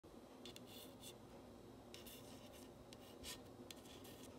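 A long acrylic nail traces and scratches along the letters of a long, flat, solid cream-painted wooden plank sign reading "Love Me, Love My Dog." Short, bright scratching strokes come and go over a quiet, steady low background hum.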